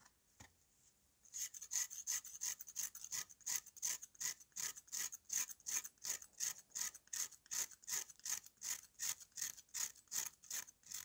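A steel knife scrapes the dry, powdery face of a solid, hand-held flat piece of dried red mud. After a quiet start with a single faint tap, a steady run of rhythmic scraping strokes follows, nearly three per second. Each stroke is a bright, high, gritty rasp with almost no low end.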